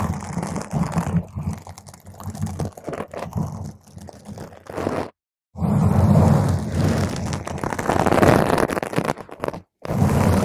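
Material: Foam.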